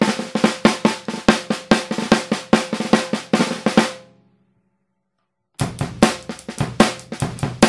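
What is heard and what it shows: A Pearl maple snare drum, 14x6.5 in, with a hollow wooden shell, dark red finish and coated plastic head, is struck with wooden drumsticks in quick, uneven taps and short rolls. Each crisp crack rings briefly with a tonal body around 220 Hz. The playing stops for about a second and a half of silence, then resumes with the same bright, snappy strokes.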